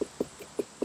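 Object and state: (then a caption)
Unripe watermelon. A smaller watermelon is knocked by hand in a thump test, giving four short, hollow knocks with a fairly high pitch around 400 Hz that die away almost at once. The higher-pitched sound marks this smaller watermelon as unripe and not ready to harvest.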